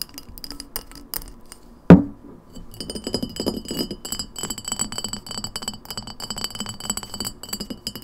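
An empty glass lemonade bottle with an open mouth, held sideways and then upright, is tapped with long nails on its ridged glass shoulder. Sparse light clinks lead to one sharp, loud knock just before two seconds. After that comes a steady stream of fast, dense tapping, with a low hollow body tone under thin, bright ringing glass tones.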